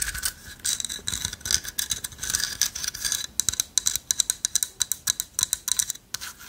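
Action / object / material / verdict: scrape / carved wooden owl figurine / wood / none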